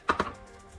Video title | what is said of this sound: Don’t Throw Away Leftover Styrofoam! Hidden Inside It Is an Amazing Use That No One Talks About | Gõ nhẹ vào chúng, và mối nối vẫn giữ nguyên.